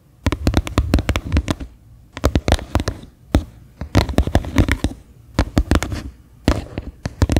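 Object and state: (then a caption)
Plastic bowl tapped with fingernails. Long manicured nails tap and scratch the flat base of a medium white faceted bowl, likely plastic, turned upside down so it sounds hollow. Quick bursts of taps come in clusters separated by short pauses, each tap a dry, low, hollow knock with a brief scratchy edge and almost no ring.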